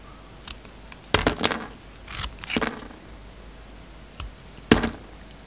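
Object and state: Soap bar being sliced with a blade.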